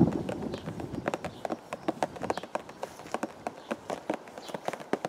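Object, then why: Hollow cardboard box. A hollow purple and white printed cardboard teacake box, held against the chest, is tapped with the fingertips of both hands. A quick, uneven run of light, dull taps with a hollow mid-range knock and short decay sounds over a soft low rumble that fades after the first second.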